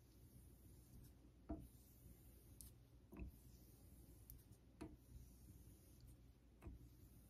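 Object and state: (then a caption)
Steel razor honed on a synthetic whetstone. A vintage Geneva Cutlery steel straight razor is stroked along the surface of a solid, pale Naniwa Super Stone synthetic whetstone set in a holder. A soft, low rubbing scrape runs throughout, marked by four distinct louder strokes spaced unevenly about one and a half seconds apart.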